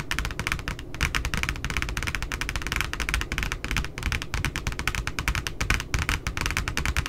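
Long nails and fingertips tap and scratch the glossy cardstock back cover of a spiral notebook with a barcode, lying flat. A fast, dense run of crisp, dry clicks and scratchy brushes sounds over a low rumble, with no ring after each tap.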